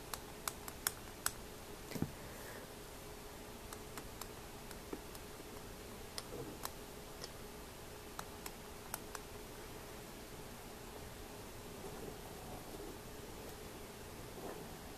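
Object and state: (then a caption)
Mother of pearl and brass opera glasses. Fingertips tap and rub the mother of pearl eyecups of antique brass-bridged opera glasses, seen from the eyepiece end. Sharp, bright clicks come quickly and die away almost at once, clustered in the first nine seconds. A softer, quiet rubbing follows over a steady low hum.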